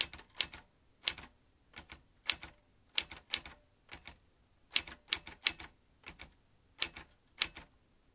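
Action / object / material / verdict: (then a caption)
tap / metal manual typewriter keys / metal / none. Fingertips tap the round keys of a vintage metal manual typewriter, producing crisp, bright clacks in irregular clusters. Each keystroke is short and dry with almost no low end, and the sound dies away almost instantly between taps.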